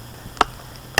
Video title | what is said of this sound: Fatwood Knot Harvest+ Lixada Gasification Wood Stove Demo (Episode 35) Part One. Lone-Wolf SFWA. | you can hear that that's solid